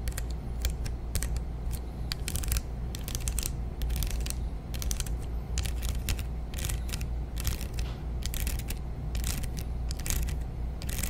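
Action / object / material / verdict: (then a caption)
scrape / plastic hair claw clip with teeth / plastic / none. Long nails scratch and strum across the plastic teeth of a large dark brown plastic hair claw clip with a metal hinge. Quick bursts of bright, dry clicking and raspy scratching come in uneven clusters over a steady low hum. The strokes stop short, with almost no ring.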